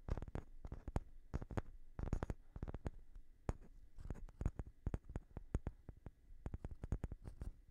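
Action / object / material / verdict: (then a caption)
tap / small wooden block / wood / none. A light-colored, palm-sized solid wooden block, held in one hand, is tapped with the fingertips and short nails of the other hand. It gives quick, dry, quiet taps in irregular bursts, each dying away almost at once. The taps are mostly low, thudding body with brief bright clicks, over a faint steady hum near 2 kHz.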